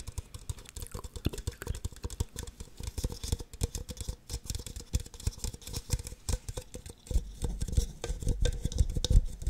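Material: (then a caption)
Plastic. Long nails tap and scratch the outer walls of two identical empty red plastic party cups held on their sides. The result is a dense, rapid patter of soft, dull clicks and light scraping, mostly low in tone with very short decay, and the taps grow sharper and louder toward the end.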